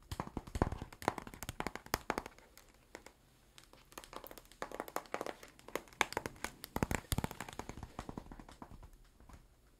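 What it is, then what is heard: Cardboard box tapped with fingernails. A flat, book-sized blue cardboard box, likely hollow, is held above the head and tapped with fingernails and fingertips. The result is a quiet, irregular stream of dozens of short, dry clicks and soft thunks that stop almost instantly, with a brief lull around the third second before the tapping resumes.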